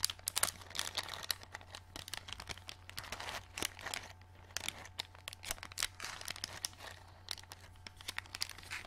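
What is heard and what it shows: A small, flat, clear plastic packet with a card backing, full of green plastic glow-in-the-dark stars, is held in both hands and flexed and crinkled with fingers and long nails. Dense, bright crinkling and sharp crackles run throughout, with louder bursts over a faint, steady low hum.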